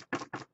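A piece of wood is knocked twice, giving two short, dull knocks with a woody mid-range body, a thin high edge, and almost no ring. A faint low trace lingers briefly after the second knock.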